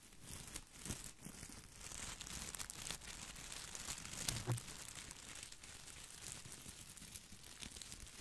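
A plastic artificial boxwood topiary ball is held beside the mic while its leaves are scratched and rubbed with fingertips. The result is a steady, quiet stream of dry crinkling and scratching, with a bright, hissy top and a soft low rumble underneath. Brief louder scrapes stand out along the way.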